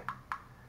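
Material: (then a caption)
Plastic. Two knocks on the plastic body of an action camera, the one being compared against a Dragon Touch camera. Each gives a short, dull tap centred near 1.1 kHz that dies away almost at once. The body sounds solidly built rather than hollow.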